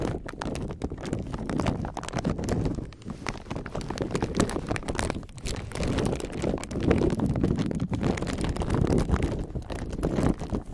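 A clear plastic bag filled with many small silicone beads is gripped and squeezed by the fingertips of both hands close to the mic. A steady run of soft, dense clicking and crinkling comes through, with the beads rattling together under a low, muffled body and little high end.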